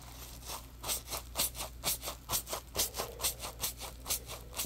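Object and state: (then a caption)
Foam sponge being scratched. A yellow, solid, textured polymer-foam Scrub Daddy sponge is held in the hands while fingers squeeze and scratch it. About ten bright, crackly scratching bursts come at a fairly steady pace of roughly two per second. A low, steady hum sits underneath.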